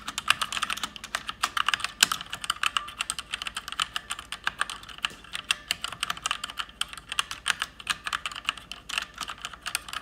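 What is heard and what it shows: A person with long painted nails types fast with their fingertips on an RGB-backlit mechanical keyboard with plastic keycaps. Many short, bright, clicky keystrokes come in quick bursts and overlap too closely to count, each with almost no ring. The sound is dry, with almost no low end.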